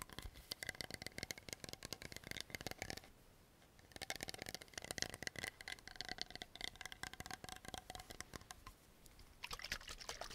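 A tall blue plastic toner bottle with liquid inside is tapped quickly with nails and tilted or shaken in the hands. Dense, sharp clicks ring at a bright tone of about 2 kHz alongside soft liquid sloshing. The tapping pauses around 3–4 seconds and again near 9 seconds.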